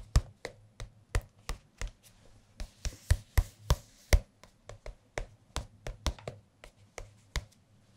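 A large, thin softcover music book (Jazz Piano) with a glossy card cover is held upright and tapped on the cover with fingertips. There are 22 short, dull taps at an uneven pace, each with a low, hollow thud and a brief crisp click on top. Each tap dies away almost instantly, with a faint papery rustle around the middle of the sequence.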